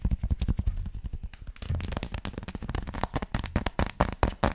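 Long lilac nails and fingertips scratch and tap across the raised dots of a flat, solid, hand-sized dark chocolate bar, held flat and then upright. A rapid, dense run of dry, crackling taps and scratches follows, with a dull low thump under each tap and bright clicking edges. Each sound dies away almost instantly.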